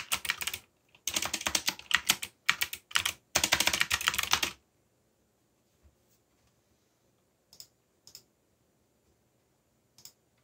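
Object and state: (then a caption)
Mechanical keyboard with plastic keycaps. Fingertips type on a backlit mechanical keyboard with black plastic keycaps and a yellow backlight. Dense bursts of bright, dry clacking fill the first four and a half seconds. A few isolated key taps follow in near silence.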